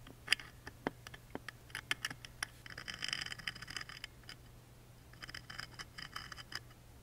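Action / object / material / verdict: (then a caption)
scrape / engraved wooden music box lid / wood / none. A wooden toothpick scratches along the engraved dinosaur grooves of a small engraved wooden music box lid standing open. Quiet, bright dry ticks and scratchy clicks come in quick succession, with two denser stretches of rasping scraping, over a faint steady low hum. Each scratch stops almost instantly with no ring.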